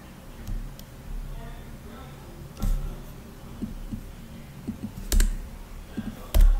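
Fingertips tap continuously on the black plastic keys of a rose-gold laptop, producing soft, irregular key taps with a few louder, dull thuds. The sound is mostly low and muffled, with short clicks over a steady background hiss.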